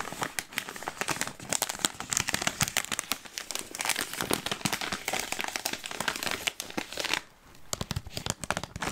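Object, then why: Plastic snack bag. A full green Smartfood plastic popcorn bag, clipped shut, is crinkled and rubbed with fingertips and nails. This produces a dense stream of bright, crackly crinkles and sharp snaps that dip briefly quiet at about seven seconds before resuming.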